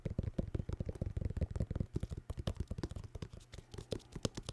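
A vinyl record in its cardboard sleeve is tapped rapidly, giving 26 short, dull, low thuds centered around 117 Hz. The taps have almost no high-frequency content and die away almost instantly.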